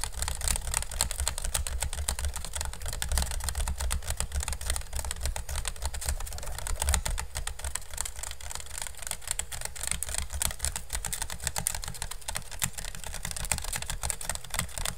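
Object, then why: Woven bamboo basket. Fingertips and nails tap and scratch fast on a hollow, empty pink woven bamboo basket held over the mic. A dense, unbroken stream of quick dry clicks and scratchy crackle rides on a heavy low thump, with a bright brittle edge throughout.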